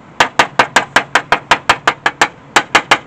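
Fifteen quick, dull taps on the damaged right rocker panel of a 1999 Mégane coupé, where the paint is cracked and a magnet does not stick. Each tap is a short, dead knock that dies almost at once, with a mid-pitched body and a little high click and almost no low end. The panel is almost entirely body filler with little metal left beneath, and it does not sound right; the section is later cut out.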